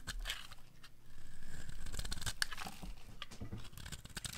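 A metal blade scrapes the corner of a solid, dry orange bar of soap held in the hand, cutting off crunchy curls. Rapid, uneven crunching and crackling scrapes run almost continuously, with a few sharper bright snaps over a low, rumbly background.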